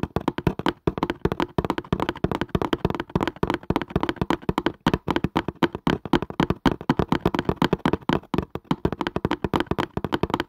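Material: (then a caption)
Cardboard. A cardboard casing is tapped quickly with the fingers, making a steady stream of dry, dull taps. The knocks are short and muted with almost no ring, sitting mostly in the low and middle range with little brightness.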